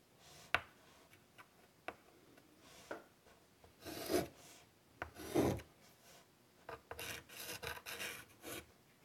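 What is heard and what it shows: White chalk draws small strokes and ticks on a large wood-framed chalkboard. Sharp, dry taps alternate with short, bright scratching strokes that rasp across the board in an irregular rhythm. Each sound cuts off at once with no ring, and it stays quiet overall.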